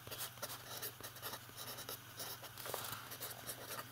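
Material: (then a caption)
Paper. A fountain pen writes capital letters on an open lined paper notebook, the other hand's fingertips resting on the page. The nib scratches and taps across the paper in quick, bright strokes, over a faint steady low hum.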